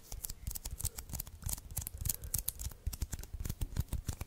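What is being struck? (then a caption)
Paper lint roller refill roll with sticky surface. Fingertips and nails tap and press the sticky surface of an adhesive paper lint roller refill, a small hollow cylindrical roll of white sticky paper held in the hands and off the microphone. A quick, uneven run of short, dry sticky taps and peeling crackles is heard, each with a soft low thump and a bright, crisp edge that dies away almost at once.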